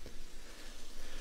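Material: Nothing is struck.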